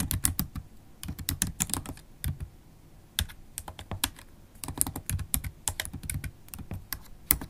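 Long black holographic acrylic nails tap the black plastic keys of a MacBook Pro keyboard in fast, dense typing. Sharp, bright clicks with a soft low thump beneath each keystroke come in quick bursts, broken by brief pauses.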